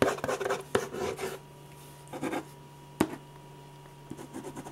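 A metal ballpoint pen rubs shading strokes back and forth across a large sheet of white drawing paper on a firm, flat board, making dry scratching and rasping sounds. The strokes come in irregular bursts with sharper ticks between them, and a steady low hum underneath.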